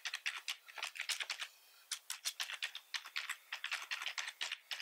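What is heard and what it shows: Fingertips of both hands type quickly on a full-size black plastic computer keyboard with red accent keys and a hollow body, resting on a wooden desk. About thirty sharp, bright, clacky keystrokes with almost no low end come in quick bursts, with a brief pause near the middle.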